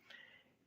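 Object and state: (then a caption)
Transformer with a loose object inside. An RCA WO-33B oscilloscope's power transformer is shaken and tilted, and something loose inside it (possibly a washer, solder ball or tiny screw) gives off a single faint, bright tick centered near 1.9 kHz. The tick fades over roughly a quarter second, a sign of a loose object that should not be inside the transformer.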